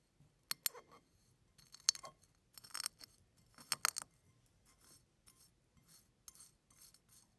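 A bare fingertip presses and crushes a pile of small, thin, brittle, hollow-curved broken brown and white chicken eggshell pieces spread on a flat blue-and-white surface, then two fingers pinch and lift a handful. The result is a series of quiet, sharp, bright crackles and crunches with almost no low end, each snapping off instantly with no ring.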